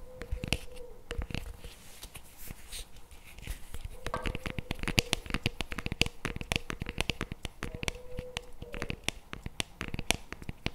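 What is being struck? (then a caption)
Paperboard tub with plastic lid. A CremaNovi paperboard chocolate spread tub with a plastic lid is held in the hands while fingernails tap and scratch across the plastic lid. Quick, dry, sharp clicks come in rapid, uneven bursts, mixed with brief bright scratching, over a faint steady low tone that comes and goes.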